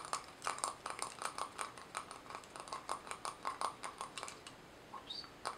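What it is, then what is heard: Thin metal jar lid. A round, thin, hollow silver metal jar lid, held in both hands, is tapped and scratched with long nails. It gives a quick, uneven run of sharp, bright clicking taps with a brief metallic ring around 1 kHz that dies almost at once. Near the end comes a short, high scraping sweep before a few last taps.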